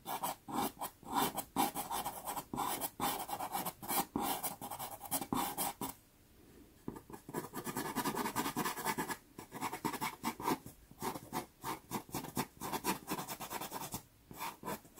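A natural-wood pastel pencil hatches across a small, taped sienna Pastelmat pastel paper card, making quick, dry, papery scratching strokes in rapid bursts. The strokes pause briefly around the six-second mark, then resume in the same steady rhythm.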